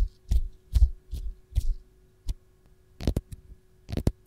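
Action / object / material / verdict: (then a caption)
scrape / whole raw lemon / citrus peel / none. Long gold nails scratch the textured peel of a single whole raw lemon held close, making nine short, low, muffled rubbing bursts with brief bright edges. A faint steady hum runs underneath.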